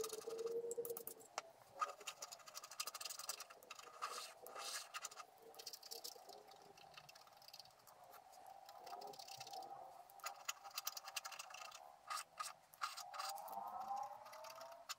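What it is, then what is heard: Scratch-art card being scratched. A wooden stylus scratches through the black coating of a flat scratch-art card of black-coated paper, held with one hand, while scratching out a squirrel-in-the-garden picture. The result is a quiet, dry, bright rasping made of many quick, uneven strokes, with occasional sharper scrapes and short pauses between bursts.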